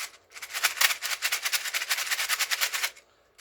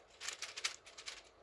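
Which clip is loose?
The first.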